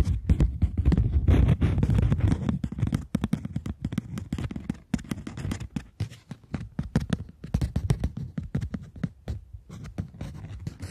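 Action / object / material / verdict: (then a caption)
tap / polymer plastic banknote / polymer plastic / none. A polymer plastic £20 banknote is held between the fingers while long nails tap and scratch its surface. The first few seconds are a dense, continuous scratching rustle, which then breaks into quick, uneven, dull clicking taps with very short decay. The sound is soft and low-weighted throughout.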